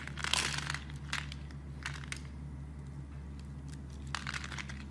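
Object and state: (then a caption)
Soap bar being shaved. A utility blade shaves slices off a solid brown soap bar, making bursts of bright, crisp crinkling and scraping. The bursts come in separate strokes over a steady low hum.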